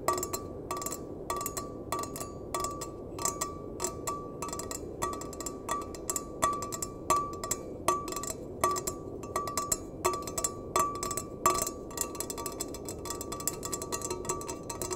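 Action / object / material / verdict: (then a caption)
tap / stainless steel mug / stainless steel / none. A small, empty stainless steel mug, held bottom-out, is tapped repeatedly with the fingertips and nails in an irregular pattern. Each tap gives a short metallic clink with a ringing tone around 1.2 kHz and bright high overtones. The ring lends the tapping a slightly musical resonance before fading quickly.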